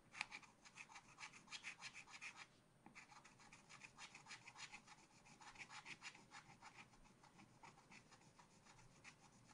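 A wooden stylus scratches stripes into a black-coated scratch art card in a spiral pad. Rapid, bright, dry scraping strokes repeat in quick succession, pausing briefly near the three-second mark before continuing steadily to the end.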